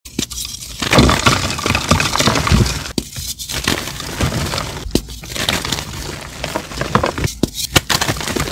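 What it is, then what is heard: Crumbling gym chalk blocks. Two bare hands with short painted nails squeeze and crumble solid chunks of pale blue-white reformed gym chalk (magnesium carbonate) over a blue mold tray, crushing and rubbing them between the palms and fingers. The result is a dense, gritty crackle of sharp snaps and crunches with bright, hissy crumbling. The chunks break into powder and small crumbs, with a few brief pauses between squeezes.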